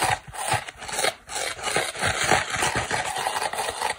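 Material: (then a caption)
Polyurethane foam. Long black nails and fingertips scratch and rub the porous turquoise foam side of a dry oval polyurethane kitchen sponge held in one hand. The result is a continuous, dense, raspy scratching with a bright hiss and soft low thumps, rising and falling in short strokes.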